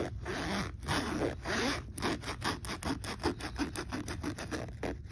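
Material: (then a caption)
Fabric. A hand rapidly zips the slider of a black fabric backpack pocket zipper up and down. It makes a fast, rasping zipper sound. A few longer strokes at the start give way to quicker, shorter strokes as the motion speeds up.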